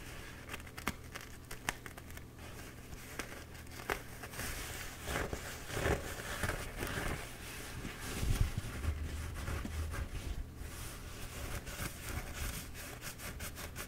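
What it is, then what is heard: Paper towel roll being scratched. Fingertips and dark-painted nails scratch the embossed surface of a bee-printed paper towel roll held in both hands. Soft, irregular papery scratching and crinkling come in quick bursts over a low, steady rumble, with a few sharper ticks. The scratching grows fuller and louder in the middle of the clip before easing back down.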